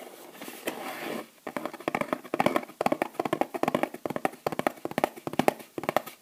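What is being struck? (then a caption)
Thin kraft cardboard box sleeve. Long nails tap rapidly on the front and back of a thin kraft cardboard sleeve from a small bath bomb box, held in the hand. A brief soft rustle comes first, then about thirty quick, dry, hollow taps follow in uneven bursts with almost no ring.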